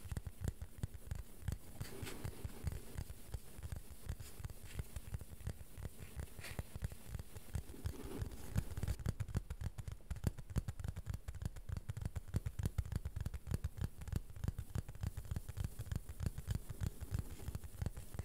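A plastic board is gently tapped in a quick, uneven rhythm, producing soft, dull, low-pitched taps. The taps are quiet and die away almost instantly, continuing steadily for the whole clip.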